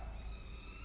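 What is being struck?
Nothing is struck.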